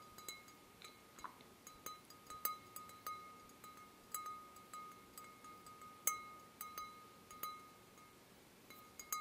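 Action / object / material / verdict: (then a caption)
tap / glass wine glass / glass / none. A wine glass is gently tapped about twenty times in an irregular pattern, each light tap giving a clear, chime-like ring centered near 1.2 kHz with a fainter overtone above it. The tones sound almost musical, each decaying quickly into quiet background hiss.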